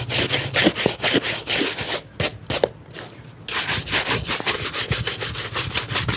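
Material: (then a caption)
Leather. A hollow, empty leather shoe with a rubber lug sole, held at the lap, is brushed with a light wooden-backed bristle brush. Quick, bright bristle strokes swish across it in a steady rhythm, pause briefly with a few softer strokes, then resume at a brisk pace.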